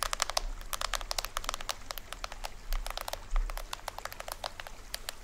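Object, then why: Plastic film drum head of a toy drum. Fingernails rapidly tap and scratch the taut printed plastic film of a small hollow toy drum with a green rim, held up in the hands. The result is a dense run of sharp, dry clicks and crinkly scratches that sit in the mids and highs and die away almost instantly, over a faint low rumble.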